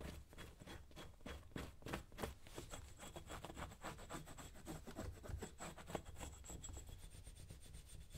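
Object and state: Leather boot being brushed.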